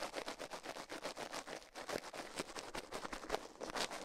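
Toothbrush bristles scrub the soft silicone right ear of a binaural microphone, mounted on a metal mic plate, while the left ear is left untouched. The result is a steady run of fast, dry scratching strokes: bright, hissy and crackly with almost no low end. Each stroke swells and fades quickly with no ring after it.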